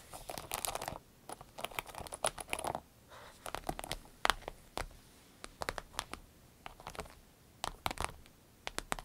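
Long red nails tap rapidly on the vinyl top of a small green-yellow vinyl zip pouch resting on a dark surface. Quick, crisp taps and crinkly scratching come in bursts separated by short quiet gaps, sharp and bright with almost no ring.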